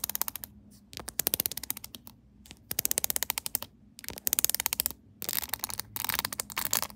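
Long pink acrylic nails tap and scratch quickly across the studded back of a hard plastic phone case covered with pyramid studs and rhinestones, with the phone inside and held upright on a tripod. Rapid bursts of crisp, bright clicking taps are broken by short pauses. Each tick is dry and stops at once, with no ring.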